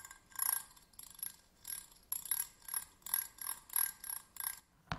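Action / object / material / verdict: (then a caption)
scrape / metal tweezers with ridged grips / metal / none. The ridged grips of slim metal tweezers are scratched with a thin pointed stick, first with the tweezers held upright and then laid flat on a table. The sound is a series of short, rasping, ratchet-like bursts with a bright, high edge and little low end, ending in a sharp click.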